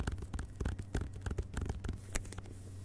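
Fingertips of both hands tap the glossy paper dust jacket of a medium, solid hardcover book, *Vagabonds!*, lying flat on carpet. The result is a quick, uneven series of soft, dull taps with short, bright clicks, over a steady low hum.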